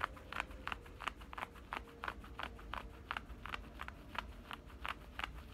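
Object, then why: Denim shorts side pocket. Fingernails scratch and rub the side pocket opening and stitched seam of black denim shorts. It makes a quick, irregular series of short, dry scraping strokes, each a brief bright rasp. A low steady hum sits underneath, and the overall level is quiet.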